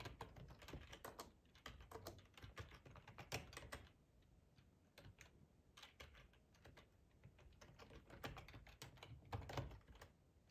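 Fingertips type on the keys of a black, hollow-bodied plastic split ergonomic computer keyboard, producing a steady run of quick, irregular tapping clicks. Each keystroke is a short, dry tap with a low, hollow thump beneath a brighter click. The typing comes in bursts, with a lighter, sparser stretch in the middle before it picks up again.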